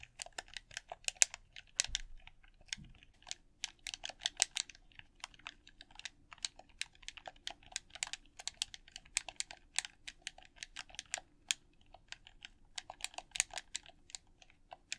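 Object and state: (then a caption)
Plastic game controller buttons clicked. A red hollow plastic game controller has its buttons clicked and tapped by fingertips and thumbs. Many quick, bright plastic clicks come in an uneven, rapid stream, each one dry and short with almost no ring. A faint low hum runs underneath.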